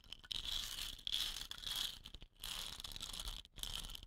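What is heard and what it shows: Long nails tap and scratch the painted body of a hollow, dot-painted wooden rain stick standing upright on cloth. The result is bright, dry scratching in dense bursts with quick taps mixed in, broken by short pauses.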